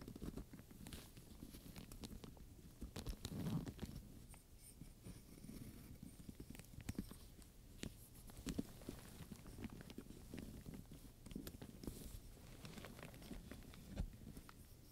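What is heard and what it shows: Long-nailed fingertips tap and scratch across a black leather handbag with metal studs, buckles, straps and a clasp, while the other hand holds a wooden pointer. Quiet, dense, dull taps and light scrapes run throughout, mostly low and soft, with a few sharper clicks standing out.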